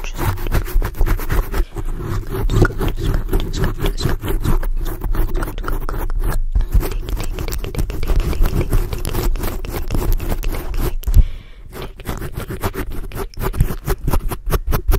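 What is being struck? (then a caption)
Foam microphone windscreen. Long blue acrylic nails on both hands rapidly scrape a black foam microphone windscreen, held partly close to the camera. The result is a dense, continuous stream of rough scratching with heavy, boomy low-end rumble and very little brightness, with a brief lull near 11.5 seconds before the rapid scraping resumes.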